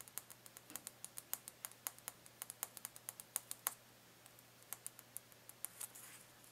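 A small orange carrot-shaped cardboard Easter decoration is held up in the hands above a hay-filled tray, not touching it, while fingertips and nails rapidly tap and scratch its surface. About thirty quiet, sharp, bright clicks come in quick irregular runs, each dying away almost instantly, with a brief pause midway and a soft scratchy rustle near the end. A faint steady low hum runs underneath throughout.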